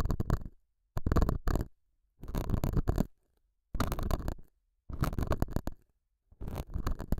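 A metal dental scaler hook scratches the surface of a small, solid, square beige felt pad mounted over a small lavalier mic. Six separate bursts of dense, rough scraping, heavy in low rumble with faint bright grit, are divided by short silences.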